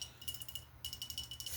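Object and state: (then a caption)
Glass sparkling water bottle tapped. Light, quick taps on a Clearly Canadian sparkling water bottle make about ten bright, short clinks with a thin ringing tone near 3 kHz. The taps come in two runs, separated by a brief pause in the middle, and are played quietly.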